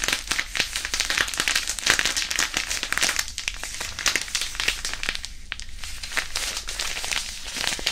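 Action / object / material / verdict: scrape / disposable hand warmer, non-woven fabric pouch with iron powder / non-woven fabric / none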